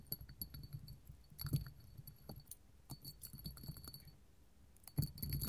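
A small clear hobnail glass candle holder, a hollow cup with raised bumps, stands on a table and is scratched and tapped with long gold metal finger claws. Quiet, irregular clicks, taps and scratchy rubbing are heard, with faint bright jangling from jewelry chains. The taps are short and dry, and a denser flurry of tapping comes at the end.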